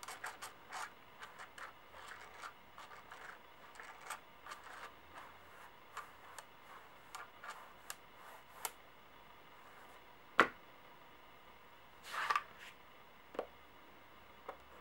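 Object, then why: Large metal coins. Fingertips and long nails tap and tick on four large, solid, gold-toned brass-colored metal coins lying in a row on a white clipboard. Quiet, bright ticks and light scratchy rubs come in a steady string, with a few sharper, louder clicks near the end.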